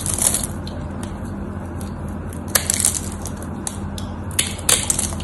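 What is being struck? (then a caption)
Soap bar cut with a craft knife. A craft knife blade carves into the scored surface of a solid white soap bar, breaking off crumbly chips. Crisp, bright crunching and scraping bursts come in irregular clusters over a steady low hum.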